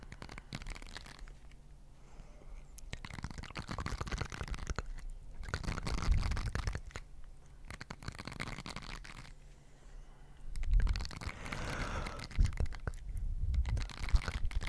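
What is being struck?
Plastic bristled scrubber pads.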